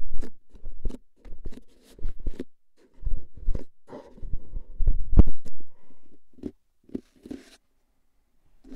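A hollow composite cardboard crisp can with a metal rim is held upright while nails scratch its top rim, then fingertips tap its label side. The result is a loose series of short, dry, low hollow thumps and scratchy bursts at an irregular pace, each dying away almost at once.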